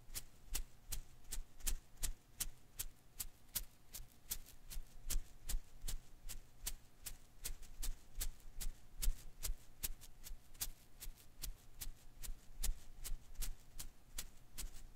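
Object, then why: Rubber Koosh ball. A single blue and green Koosh ball of thin rubber filaments, held in one hand, has its strands flicked and scratched by fingertips. About 38 short, crisp, bright ticks snap out at a fairly steady pace of roughly two or three per second, each dying away almost instantly. Beneath them sit a soft low rustle and a faint steady hum.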